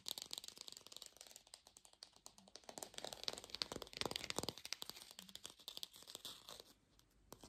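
A small fake plastic lemon, possibly hollow, is held in both hands and rapidly tapped and scratched with long pink fingernails. The result is a quiet, fast, irregular stream of dry, bright clicks and crinkly scratching with almost no ring or low end.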